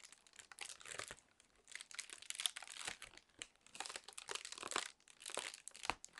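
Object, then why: Inflated plastic air-pillow packing film. A sheet of inflated clear plastic air-pillow packing film, held in both hands, is squeezed and crinkled with long nails. Dense, bright crackling comes in several bursts separated by short quiet gaps, with almost no low end. Quick crisp snaps stand out within each burst.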